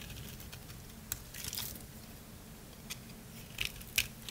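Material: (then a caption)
Soap. A utility knife blade shaves the face of a thinned, solid lavender dry soap bar. Scattered crisp, bright scraping crunches and clicks rise over a quiet low rumble, with the sharpest snaps near the end.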